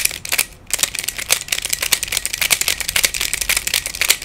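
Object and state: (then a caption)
Plastic Pyraminx puzzle being twisted. Fingertips twist the layers of a hand-sized black plastic Pyraminx, a pyramid-shaped twisty puzzle with coloured stickers and a hollow mechanism. The result is a quick, steady run of short, rattly plastic clicks, bright and dry with almost no low end, broken by a brief pause near the start.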